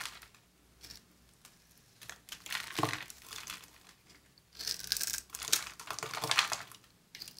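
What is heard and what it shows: A utility knife blade slices thin strips and cubes off the surface of a dry, solid, oval white bar of soap, palm-sized and held in one hand. Crisp, bright scraping and crackling cuts come in uneven bursts with short quiet gaps between them. Each stroke sounds dry and crinkly and fades almost at once.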